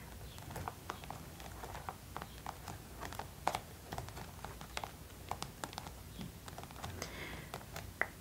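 Long colorful acrylic nails tap and scratch the forehead, cheeks and chin of a life-size hollow vinyl/plastic mannequin head decorated with stick-on gems, lying on a purple towel. The result is a steady, irregular run of light, dry, clicky taps that die out almost instantly, with soft scratching between them over a faint low hum.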